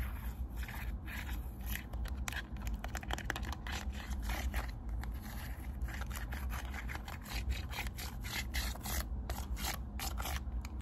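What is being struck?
Small plastic remote control with rubber buttons.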